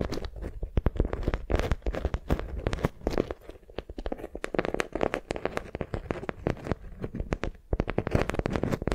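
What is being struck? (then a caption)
Beeswax-coated cotton wrap. A beeswax-coated cotton wrap bundled around a soft squishy block is held in both hands and gripped and crinkled with fingertips and long nails. It gives a dense run of crisp crackles and sharp, bright snaps over a soft, low rustling body. The sound stays steady throughout.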